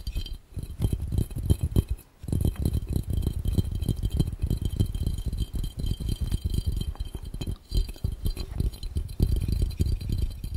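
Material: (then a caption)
Glass. Fingertips of both hands tap fast on a clear, round, hollow and empty glass fishbowl. The taps come in a dense, continuous patter of short, dull, low thumps with faint bright glassy clinks above, pausing briefly around 2 seconds and again near 7.5 seconds.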